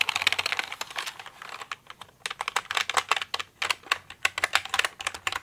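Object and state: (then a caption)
Plastic mechanical keyboard being typed on. Fingers with nails type on and tap the keycaps of a pink plastic mechanical computer keyboard. The result is a quick run of sharp, bright, clicky keystrokes, dense at first, then a brief lull before the tapping picks up again.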